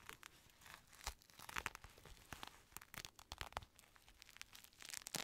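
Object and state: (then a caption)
Synthetic leather boxing glove. Fingertips tap and scratch the outer shell of a black, padded synthetic leather boxing glove, hollow inside, held close to the mic. The result is a quick run of dry, crackly scratches and sharp little taps, mostly bright with a light thud underneath and almost no ring.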